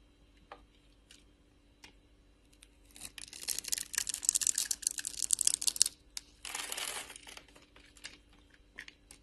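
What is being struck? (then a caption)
Scored bar of soap scraped with a metal blade. A metal blade scrapes small cubes off a solid rectangular blue bar of soap scored into a fine grid, held by a hand with long glitter nails. Faint scattered clicks give way to a dense run of crisp, bright crackling and crumbling scrapes, then a shorter steady scrape. The clip ends with a few more light ticks.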